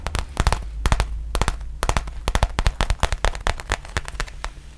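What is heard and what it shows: Long nails tap and scratch across the surface of a black faux leather zip pouch held upright. They make quick, irregular clusters of sharp, dry clicks with bright edges that fade almost instantly. A steady low hum sits beneath the taps throughout.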